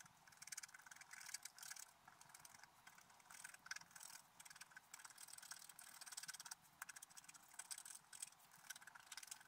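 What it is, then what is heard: Scratch art paper being scratched. A wooden stylus scratches lines into a flat, black-coated scratch art paper page resting on a table. The sound is a quiet run of dry, bright, scratchy strokes in quick uneven bursts with short pauses, with almost no low end and no ring after each stroke.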